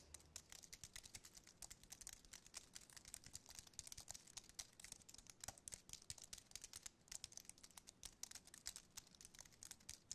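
Fingertips type and tap on the keys of a slim white aluminium and plastic wireless keyboard. A quiet, rapid stream of short, bright clicks runs for the whole clip, each one dying away almost instantly with little low end.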